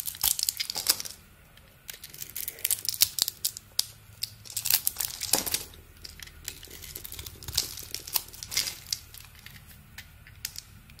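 A small metal blade shaves and carves curls off a solid rectangular bar of soap with a dark purple coating over an orange core, held in the hand. The result is a steady run of crisp, dry scraping and crinkling strokes, bright and high with almost no low end. The strokes come in uneven bursts, with a brief quiet gap near the start.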